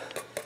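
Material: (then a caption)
Magnesium. A folded, laser-cut magnesium sheet part, very light and almost like plastic yet metal, is tapped twice. Each tap gives a short, bright metallic tick with a faint ring around 580 Hz that dies away quickly.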